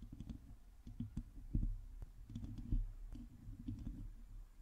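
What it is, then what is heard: Metal mesh microphone grille, scratched and tapped. Long glossy teal acrylic nails scratch and tap the hollow domed metal mesh grille of a black microphone, with both hands gripping the head. Irregular clicks and scraping taps land over a dense, deep rumbling boom that dominates the sound, with only brief faint high ticks above it.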